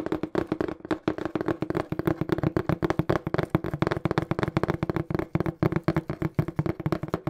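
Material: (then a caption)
Cardboard. Fingertips tap rapidly on a small, hollow, brown printed cardboard shipping box, making about forty quick, dry knocks over seven seconds. Each tap is a short, hollow, low thud centered near 156 Hz, with almost no brightness and no ring.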